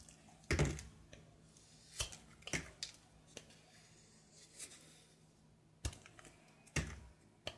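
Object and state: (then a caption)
Soap bar being shaved. A brown soap bar held in hand has its surface shaved with a knife blade, peeling off a thin grey-blue layer. Short, crisp scraping clicks with bright edges come at irregular intervals over a faint, steady low hum.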